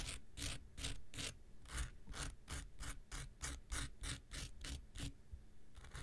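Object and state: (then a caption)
Foam nail buffer block being scraped. A pink rectangular foam nail buffer block with an abrasive surface is held in the hand and scraped along its top with an x-acto knife blade. Quick, rhythmic rasping strokes repeat about three times a second, each a bright, gritty scratch over a steady low rumble. The strokes fall unevenly, with a short pause near the end before the scraping resumes.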